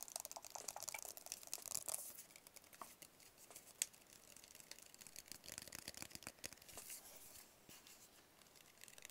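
A small, hollow, white rigid paperboard phone box is tapped with fingertips and nails. The result is a quiet, steady stream of quick, dry clicks and light scratchy taps, mostly high and bright with almost no low end. Each tap dies away almost instantly, with a few sharper ones standing out.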